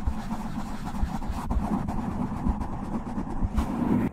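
Fingertips and short nails scratch and rub a soft, porous black foam windscreen over a large desktop USB microphone, starting slow and getting faster. The sound is a dense, low, rumbling rustle with soft thumps. It cuts off abruptly near the end.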